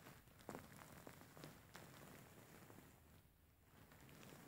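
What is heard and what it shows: A large, soft-filled grey faux fur pillow is scratched and kneaded with fingertips and short nails. The result is a quiet, continuous crackly rustle of fur, with a few brief, slightly louder scratches standing out early on.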